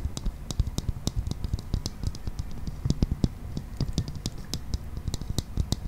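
Fingernails tap and scratch on the shell of a clear plastic toy ball, a hollow transparent sphere with a green toy inside. Quick, dry clicks come in an uneven run, each with a low hollow knock and a bright edge that dies away almost at once, over a soft scratchy rustle.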